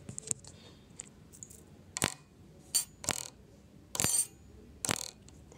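A wooden ruler is set vibrating, producing nine short, dry, bright rattling bursts spaced irregularly over a quiet background. It serves as an example that sound is produced by the vibration of an object.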